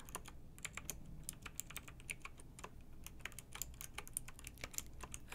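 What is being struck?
Plastic mechanical keyboard keys.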